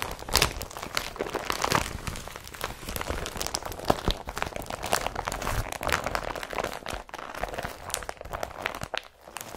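An empty blue IKEA BRATTBY carrier bag of woven polypropylene is pressed with a flat palm and scrunched by fingers. It gives a steady run of dense, dry crinkling and crunching with sharp bright crackles that die away at once.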